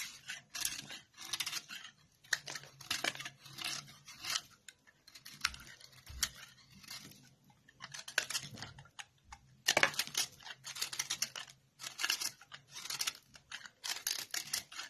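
A metal knife blade shaves thin curls from a partly carved, translucent yellow glycerin soap bar held in the hand. Repeated bursts of crisp, bright scraping strokes come in quick clusters with short pauses between, each stroke cutting off sharply with almost no ring and very little low end.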